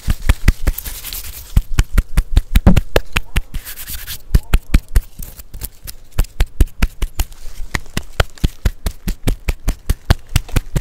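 Fingertips and nails scratch and rub the rough, furrowed bark of a large, solid, living tree trunk right next to a handheld microphone. About fifty quick, uneven scratchy taps are heard, each a short dull thump with a low, heavy body, with brief stretches of softer rubbing between them.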